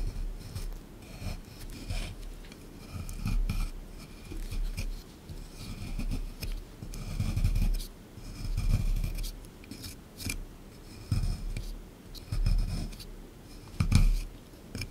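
A small chisel tool scrapes a solid plaster excavation block sitting in a tray, making dry, gritty scratching strokes. The scrapes come in irregular bursts, with low thumps underneath and a faint bright hiss on top.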